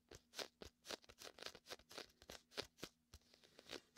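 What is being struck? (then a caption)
Inflatable PVC beach ball. Fingertips and a palm tap and pull on the sticky surface of a large, hollow, air-filled red-and-white inflatable PVC vinyl beach ball held beside a binaural mic. The result is a quick, uneven run of short, bright, crackly tacky peels and soft pats with almost no low end, each one dying out almost at once.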